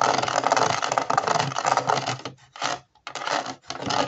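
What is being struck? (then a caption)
Ridged plastic shoe sole. Fingertips and nails scratch along the grooves of the white ridged sole of a hollow plastic jigsaw-puzzle Converse-style shoe (a Ravensburger 3D puzzle) held against a wall. A dense, bright, raspy scraping runs steadily for about two seconds, then breaks into shorter scratchy strokes separated by brief silences.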